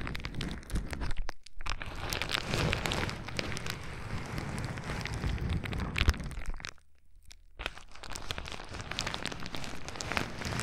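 A sheet of clear plastic bubble wrap, held against the other side of a microphone, is crinkled and rubbed with fingertips. The result is a dense, continuous crackling and rustling over a heavy low rumble, broken by a brief gap near 1.4 seconds and a longer lull around 7 seconds before the crinkling resumes.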